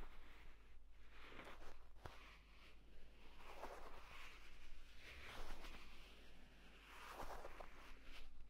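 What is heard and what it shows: Fingertips and short nails scratch and tap the cover of a purple leather folio tablet case lying flat. The scraping comes in soft, rustling swells with occasional sharp taps, over a steady low hum.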